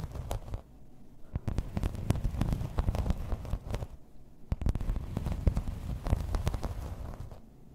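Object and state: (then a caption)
Plastic placemat tapped and scratched. Long red nails scratch and tap across a grey embossed plastic placemat lying flat. Dense, low-heavy scratching is broken by many short, sharp taps that flash bright. There are brief quieter pauses between the bursts.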